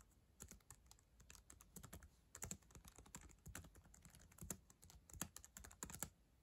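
Long acrylic nails type on the plastic keys of a black ThinkPad laptop keyboard. A quiet, irregular run of quick clicks mixes bright, sharp nail ticks with soft low key thumps. Each stroke dies away almost instantly.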